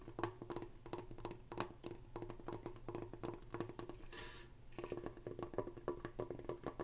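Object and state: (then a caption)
Solid wooden plank sign. Fingertips and nails tap rapidly across the front of a large, solid, flat wall sign made of wooden planks with painted white lettering. The taps give short, dry, hollow-sounding knocks with a low woody tone. They pause briefly for a soft, bright scratching brush before the tapping resumes.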